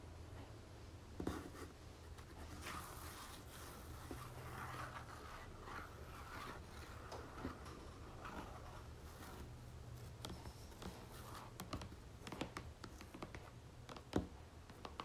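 Long nails tap and scratch on a pink and gold plastic squeeze tube of body lotion that looks full and is held upright. Soft, quiet clicks and papery scratching sounds come through over a steady low hum.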